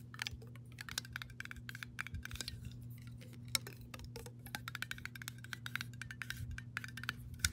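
Long nails tap and scratch the metal lid of a glass mason jar partly filled with water, then move on to the glass body. Quick, bright clicks and scrapes follow one another over a steady low hum, each dying away almost at once.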